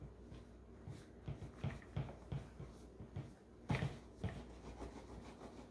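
A hollow green plastic Keurig coffee maker is held steady by one gloved hand while the other gloved hand rubs its front and drip tray with a cloth. A series of soft, low, muffled swishing strokes and dull hollow bumps repeats quietly and dies away quickly.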